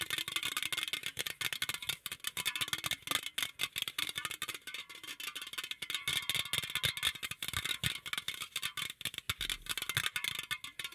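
A green, hollow aluminum beverage can is held in both hands close to the microphone while fingertips and nails rapidly tap and scratch its body and top rim. The result is a fast, irregular stream of bright, tinny clicks and scrapes with a metallic tone around 3.5 kHz, each hit dying away almost at once with very little low end.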